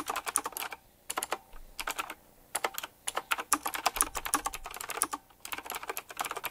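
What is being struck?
Mechanical keyboard with round plastic keycaps and metal rims.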